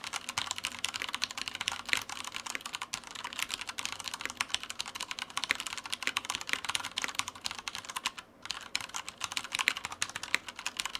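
A black Typhon Mars Pro tenkeyless mechanical keyboard with Cherry brown switches and plastic keycaps, resting on a white desk, is typed on steadily with the fingertips of both hands. The keys give a fast, continuous stream of dry, bright plastic clacks with no ring and almost no low end, broken only by a brief pause near the 8-second mark.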